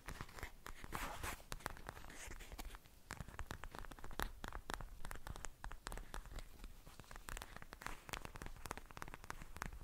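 Fingertips and nails tap and scratch a hand-sized, soft, filled pink translucent plastic gel pad with beads inside. The result is a dense, quiet stream of quick crisp clicks and scratchy, crinkling rustles with brief bright transients that stop almost at once, over a low, soft bed.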